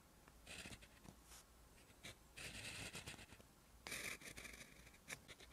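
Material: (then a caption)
Paper. A plastic gel pen tip writes Korean letters on a lined white page of a spiral notebook lying flat and solid on a desk. It makes a steady, bright scratching in short strokes and longer bursts, with a couple of sharper taps of the tip against the paper.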